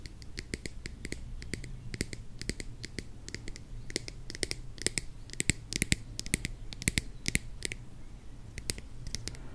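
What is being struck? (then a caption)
Plastic squeeze bottle filled with honey. Long nails tap and scratch the label and orange flip cap of a mid-sized plastic squeeze bottle filled with honey. Quick, dry clicks with bright edges come in uneven clusters throughout. A steady low hum sits underneath.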